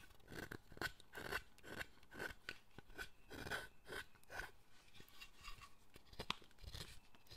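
A chisel pares the surface of a solid carved wooden statue and is pushed into the wood near the figure's arm. A quiet series of dry, crunchy scraping cuts repeats at an uneven pace, each with a bright, brief bite, and one sharper snap comes near the end.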